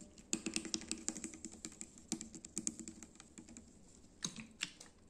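Fingertips and nails tap a small PET plastic bottle of SanAttiva Zero drink with an orange cap and label, full of dark liquid and held in one hand. A quick run of short, bright, clicky taps with a dull low-mid knock fades into light ticking, then two sharper taps come near the end.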